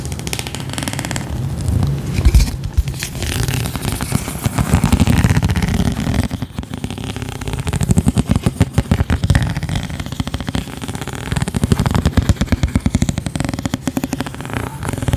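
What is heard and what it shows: Long nails scratch a thin, hand-sized round clear plastic lid or dish with a ridged radial texture, held close to the mic. Dense, rapid crackly scraping fills the clip in rolling waves, with a heavy low rumble and little bright content. Each scratch dies away almost instantly.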